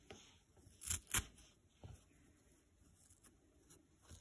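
A detached, dry green nylon scouring pad is pulled and ripped into fibrous pieces with the fingers. Two loud, crisp tearing rasps stand out near the start, surrounded by quieter bright crackles and scratchy fiber snaps against a low, quiet background.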